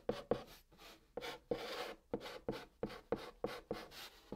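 A white chalk stick writes line after line of text on a flat brown cardboard box surface. It makes a series of short, dry scratching strokes with a faint squeak near 480 Hz, each stroke fading quickly, with brief gaps between them.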